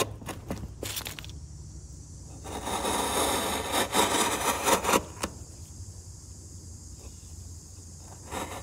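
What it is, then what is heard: Softwood block scraped with a chisel. A steel chisel, guided by the fingertips, shaves and scrapes the top corner of a solid, light softwood block resting on a workbench. A few short scratchy ticks give way to a dense, crackling scrape that swells in rough bursts, then falls back to a quiet, steady low hum and high hiss. A brief final scrape closes the clip.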